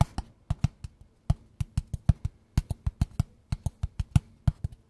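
A small, hollow, Mi-branded kraft cardboard product box is held in both hands close to the mic and tapped and scratched with fingertips and short nails. About two dozen quick, irregular taps land as dull, low, hollow thuds with a short click on top. Each one dies away almost instantly.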